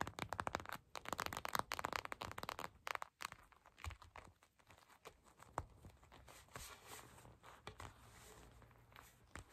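A glittery purple gel bead eye mask in clear plastic lies flat and is tapped and scratched with long pink and patterned acrylic nails. Dense, crinkly clicks and crackling scratches fill the first three seconds. The sound then thins to quieter, scattered taps over soft, bright scraping.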